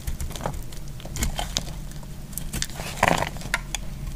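A solid green bar of soap is scraped and cut with a metal blade. Short, dry crackling scrapes and crisp clicks pop out over a low steady rumble. One brighter, louder crunch lands near the three-second mark.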